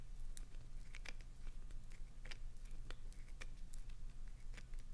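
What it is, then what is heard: Glycerin soap bar scratched. Long nails scratch into a hand-sized solid green glycerin soap bar held upright, with soap shavings falling onto the carpet. Short, bright, crisp scrapes and crinkly ticks come in quick irregular bursts over a quiet, steady low hum.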